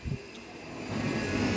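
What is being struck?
Nothing is struck.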